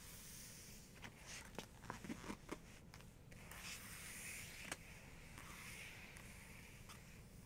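Long nails tap and scratch across the glossy paper of an open photography book showing a full-page portrait. Sharp, dry taps stand out over a soft, steady low hiss, with bright scratching swells building through the middle and end of the clip.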